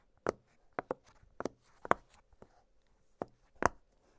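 Fingertips press and pop the hollow bubbles of an octagonal blue silicone pop-it fidget toy lying flat on a glittery surface. Quiet, short, dry pops come at an irregular pace, each with a bright snap that dies away almost instantly, separated by near silence.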